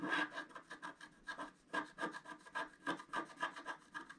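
A wooden stylus scrapes the black coating off a flat scratch-art card, about A4 size, lying on a table, using a rubbing motion. Quiet, dry, raspy scratches come in quick, uneven strokes, roughly three to four per second, with a papery rasp centered around 1.6 kHz and almost no low end.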